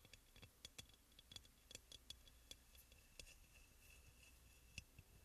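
Fingernails tap and lightly scratch the glazed sides of a hollow, white crackle-glazed ceramic aroma oil burner. A quiet series of short, bright, dry clicks with almost no ring is heard over a low background hiss and a faint steady high tone.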